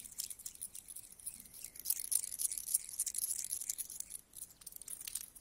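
Two solid metal coins are held up and rubbed together, then coins are picked from a pile. The result is a quiet, steady rustle of bright, high-pitched scraping, dotted with many tiny metallic clinks and glints that briefly grow denser midway before settling down.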